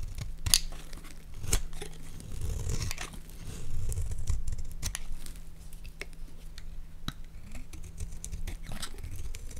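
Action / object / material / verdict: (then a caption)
scrape / solid bar of soap / soap / none. A palm-sized solid white bar of Palmolive soap is held in one hand while a metal utility blade scrapes and carves flakes from its face. Sharp, bright scraping cuts and crisp flaking crunches are heard over a low, steady hum.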